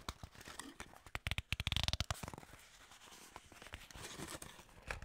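Long nails and fingertips tap, scratch and grip the sides of a small, hollow, printed white-and-red skincare paperboard box that likely holds a tube. Scattered clicks lead into a quick run of sharp, dry taps with a bright crinkly edge and a low hollow thump. It settles into softer scratching and rustling before a few final taps.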